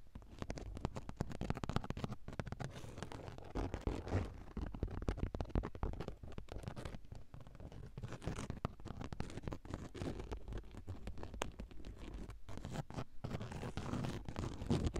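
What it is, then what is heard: Fabric car seat. Long acrylic nails scratch and tap rapidly on a padded grey woven fabric car seat cushion. The result is a dense, continuous stream of soft, muffled scratching and patting, mostly low and dull with little brightness.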